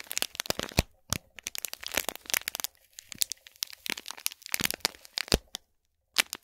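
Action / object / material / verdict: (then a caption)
scrape / small gift box wrapped in metallic foil / foil / none. Long fingernails scratch and tap a small, hollow cube gift box wrapped in shiny gold metallic foil or plastic film with a gold cord, resting on a gold plate. Quick bursts of sharp, bright crackling and crinkling come in clusters separated by short pauses. The wrap crinkles loudly, then falls quiet before a final burst near the end.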